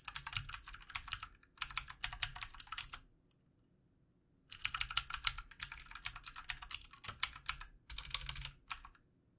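Both hands type with their fingertips on a full-size, backlit plastic mechanical computer keyboard with plastic keycaps. Rapid, bright, crisp clacking keystrokes arrive in dense bursts, each click dying away almost instantly. Short gaps separate the bursts, with a full silent pause of about a second and a half in the middle.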